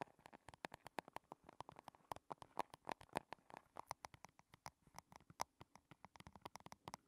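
A small, rigid, hollow, shiny silver square chrome metal compact case rests on a table and is tapped with long red fingernails from both hands. The result is a quick, uneven run of sharp, dry clicks centered in the midrange, with very little ring after each hit.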